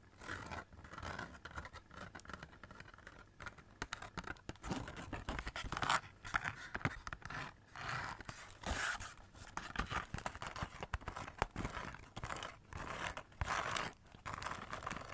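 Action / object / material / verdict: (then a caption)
scrape / cardboard Christmas cracker wrapped in glitter paper and foil / cardboard / none. Long nails scratch and tap a hollow cardboard Christmas cracker wrapped in glitter paper and silver foil, with purple glitter ends and an open tube end. The result is a steady run of dry, crinkly scratching bursts broken by quick, sharp taps, with a faint low hollow body underneath.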